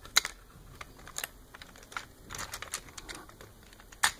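Fingertips and nails tap and scratch small plastic fish and the tray of a hollow blue plastic toy fishing-game base. The result is a scattered series of sharp, dry, bright clicks and light scratches with almost no ring or low end, ending on a louder tap.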